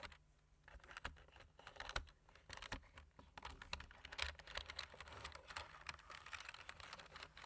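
Fingertips of both hands type quickly on the black plastic keys of a computer keyboard. The result is a rapid, uneven stream of short, bright clicks and taps that stop dead with no ring, over a faint, steady low hum.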